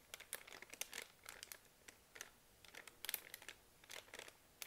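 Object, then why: Soft plastic film wipes package. Long nails tap and scratch a full, soft plastic-film pack of baby wet wipes lying on a laptop, and fingers crinkle the package. Quiet, bright, crackly bursts of crinkling and ticking come in irregular clusters, with short gaps between them and almost no low end.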